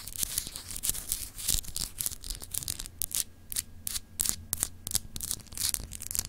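Long acrylic nails rapidly scratch the textured, etched surface of a palm-sized solid clear glass globe paperweight held in one hand. The result is a quick run of dry, bright, hissy scraping strokes with sharp clicky onsets and no ring, over a faint low rumble.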